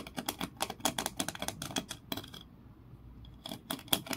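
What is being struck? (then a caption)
Grooved wooden block. Long nails scratch along the ridges and tap the edges of a small, solid grooved wooden block held in both hands. A rapid run of sharp, bright clicks and raspy scrapes stops for about a second of near-quiet, then resumes with a few louder taps.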